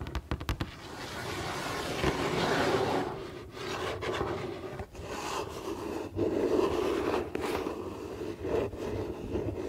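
Long painted fingernails scratch and rub across the printed front of a flat, rectangular, hollow cardboard Lego set box held upright. A few quick sharp taps open the clip, then a steady papery scraping follows in swelling strokes with a warm midrange body and a faint hollow resonance from the box.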